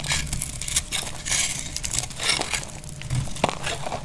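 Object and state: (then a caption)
Dry bar soap being scraped. A utility knife blade scrapes crunchy flakes off a solid, partly carved, dry lilac-purple bar of soap held in the hand over a pile of shavings. The sound is a continuous run of dry, bright crackling scrapes over a low rumble, with short sharp crunches standing out.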